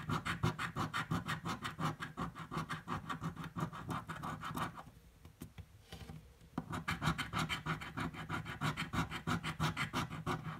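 A metal coin edge scrapes continuously across a purple paper scratch-off lottery ticket lying flat on a table. It makes rapid, rhythmic rasping strokes, about three per second, with a low body and a dry scratchy texture. The scratching drops to quieter, softer rubbing for a couple of seconds midway, then resumes at full pace.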